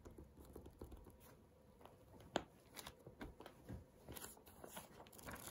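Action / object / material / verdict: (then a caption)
scrape / paperback book with paper pages / paper / none. An open paperback book with printed paper pages, a solid stack held in hand, has its page edges flipped and riffled by fingertips before a flat hand rubs and taps the open pages. Quiet, dry papery rustles and crinkles run throughout, broken by about a dozen short soft taps, with one sharper snap of a page near the middle.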